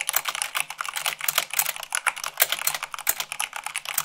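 Fingertips with long nails type quickly, at about 98 words per minute, on a mechanical keyboard with white plastic keycaps on a black base. A dense, uneven stream of sharp, bright plastic clacks and clicks comes through, each dying almost instantly with no low-end thump.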